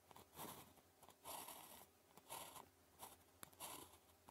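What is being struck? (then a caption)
Ballpoint pen tip on a paper sheet. The metal tip of a blue plastic ballpoint pen scratches strokes across a thin sheet of red-grid calligraphy paper lying flat while writing characters. Quiet, bright, dry scratching comes in short bursts separated by brief pauses, with a faint crisp tick between strokes.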